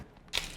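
A chia seed and nut cracker, baked in the oven for two hours and flipped halfway to help it dry, gives a single sharp, bright crunch that fades quickly. The crisp snap confirms the cracker is dry.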